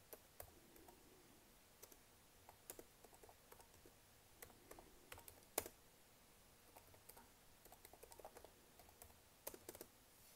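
Fingertips and long nails tap and press across black plastic chiclet keys on a laptop keyboard. About nineteen quiet, sharp clicks are heard at an irregular pace, each dying away almost instantly with a bright edge over a faint, steady background hiss.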